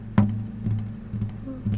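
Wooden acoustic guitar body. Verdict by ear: Hollow.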